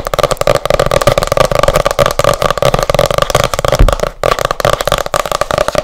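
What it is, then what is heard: Hardcover book. Long nails tap fast on the glossy printed cover of a solid hardcover book, making a dense stream of quick clicky taps over a steady hum near 600 Hz and 1.2 kHz. The tapping pauses briefly around four seconds, then resumes at the same pace.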